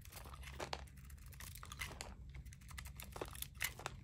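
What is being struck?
Soap bar scraped with a blade.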